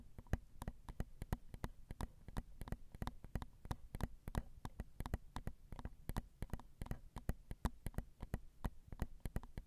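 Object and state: Metal microphone capsules tapped with fingernails.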